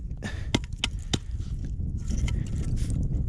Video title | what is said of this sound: Death Valley National Park - Saline valley - Day 1 part 1 | it feels and sounds like stone